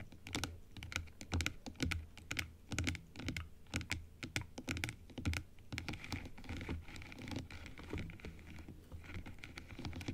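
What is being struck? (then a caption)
Plastic dental teeth model. Long acrylic nails tap along the teeth of a large plastic dental model set open and upright, working across the arch. They make a steady run of quick, uneven clicks with short, dry decays over a soft low thump and faint background hiss.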